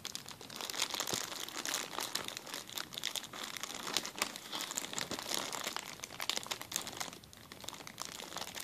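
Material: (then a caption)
Plastic. A clear plastic zip-lock bag is scrunched in the hand, giving a continuous, dense crinkling made of many sharp, bright crackles with almost no low end. The crackling keeps up steadily for about nine seconds, easing briefly just after the seven-second mark before picking up again.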